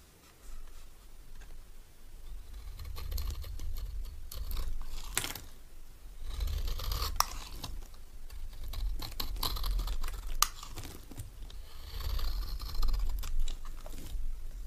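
A solid, oval green bar of old, dry soap is held in the hand and shaved with a metal knife blade, and the powdery shavings fall away. Dry, crackly scraping strokes repeat unevenly over a low, steady rumble, with a few sharp, bright clicks where the blade catches.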